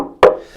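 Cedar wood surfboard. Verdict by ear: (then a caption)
Hollow. A single knock on a hollow surfboard made of quarter-inch-thick solid cedar over internal ribs, glassed with 4 oz fiberglass cloth and epoxy resin. The knock gives a short, hollow wooden tone centred around 500 Hz that dies away within about a tenth of a second. It shows the board is hollow and filled with air.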